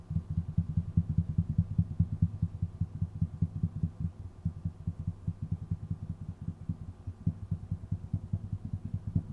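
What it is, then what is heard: Wooden tabletop. Fingertips of both hands tap and drum on a flat, solid, dark wooden tabletop right beside the microphone. The result is a quick, uneven stream of soft, dull, low thuds with almost no high end, each dying away almost instantly.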